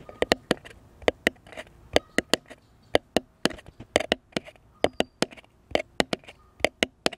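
Fingertips and nails tap a flat, solid, light-colored wooden cross cutout about a hand's length long, held upright. About 24 short, dry, hollow clicks and knocks come in an irregular rhythm, each centered in the midrange with a bright edge and dying away almost instantly.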